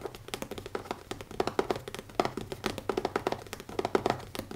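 Fingertips tap quickly on the leather cover of a notebook, making a rapid, uneven run of soft, dull taps with a low-mid, muffled tone. Each tap dies away almost instantly.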